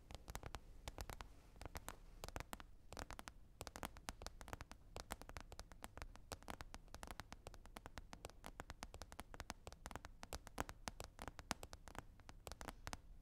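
Rapid, continuous tapping on a lid, with fingers or tools unspecified, runs the whole clip as a dense stream of short, dry clicks. Each tap is a brief, broadband tick over a soft low thump and dies away almost instantly. The tapping stays quiet and steady from start to finish.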